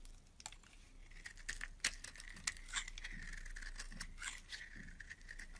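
A solid cream bar of soap, held in the hand, is scraped with a metal blade as flakes fall away. Crisp, dry crackling and sharp scraping ticks come in uneven bursts over a steady high whine near 2 kHz and a faint low rumble.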